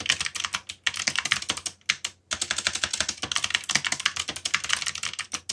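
Fingertips type steadily on a backlit mechanical keyboard with black plastic keycaps, producing rapid, bright, dry clicks that each cut off almost at once. The typing runs in quick bursts with brief pauses, over a faint low hum.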